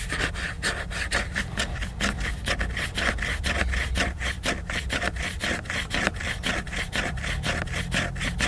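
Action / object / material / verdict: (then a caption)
scrape / glossy laminated paper book cover / laminated paper / none. Fingernails scratch the glossy laminated paper cover of a large picture book. Quick, steady back-and-forth strokes make a dry, bright raspy scratching over a constant low rumble.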